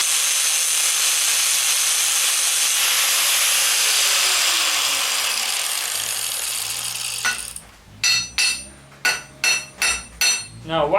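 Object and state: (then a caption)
Hardened wrought iron bar rings clearly on the anvil. After hours of carburizing in a can, a wrought iron bar is struck against an anvil. A steady, harsh, high-pitched noise first winds down, then six sharp metallic hits ring out clearly. The clear ring, and the bar barely deforming, suggest it picked up some carbon and hardened.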